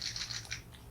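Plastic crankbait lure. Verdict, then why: Rattling. A plastic deep-diving crankbait fishing lure is shaken to check for rattles inside. About five quick, bright clicking rattles sound in a short burst, then fade, confirming the lure has rattles.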